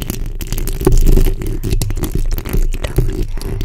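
The backs of long nails scratch the top of the hollow steel mesh grille on a black condenser microphone. The result is a steady, dense scratching and crackling rasp. It is heavy in low rumble, with faint bright grit over a low hum near 375 Hz.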